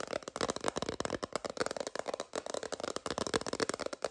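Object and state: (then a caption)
Plastic phone case tapped with nails. Long nails rapidly tap and scratch an empty, transparent plastic phone case held horizontally. The result is a dense, continuous stream of short, dry clicks and scrapes with little low end, centred in the mid range with some brightness. Each click dies away almost instantly.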